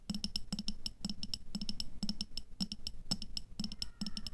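Long nails tap rapidly on the walls of an upright clear glass jar with a black lid, filled with red water beads. The quick clicking taps come in tight bursts, each with a low hollow knock and a brief bright glassy ping that dies away almost at once.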